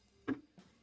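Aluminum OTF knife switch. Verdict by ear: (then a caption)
Tight. A new $100 aluminum OTF knife is handled, giving two short, dry ticks: a sharper click followed by a fainter one about a quarter second later. The switch does not rattle; it is rock solid, unlike the rattly button on a Microtech.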